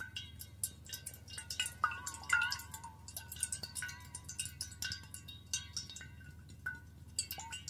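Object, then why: Stainless steel water bottle. A stainless steel water bottle, held above the shoulder, is tapped repeatedly with a fingernail near its base. Each tap gives a short, bright metallic ring with a chime-like tone around 1.4 kHz, fading quickly over a faint low hum. The taps come in an uneven, rapid string throughout.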